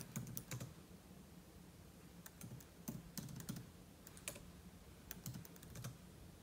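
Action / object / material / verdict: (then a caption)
tap / laptop keyboard with plastic keys in an aluminum body / plastic / none. Fingertip typing on a silver laptop keyboard with plastic keys in an aluminum body produces quick, light key taps and clicks. The taps come in loose bursts over a quiet, low background hum, each one a short bright tick with a soft low thud beneath it.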